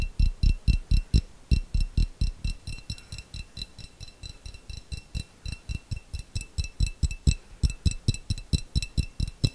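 A small, clear, hollow glass jar with a little contents at the bottom is tapped with long fingernails in a quick, uneven rhythm of about 42 taps. Each tap pairs a deep, short thud with a bright, glassy click that fades almost at once, with brief pauses between some runs.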